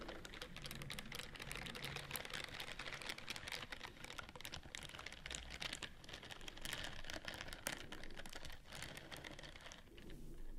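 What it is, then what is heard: Silicone scrubbing glove scratched with nails. Long nails scratch down the bristled fingers of a white silicone scrubbing glove held upright. The result is a dense, continuous stream of rapid, crisp clicking and scratching, bright across the upper range with a low rumble underneath. The texture stays steady for the whole clip.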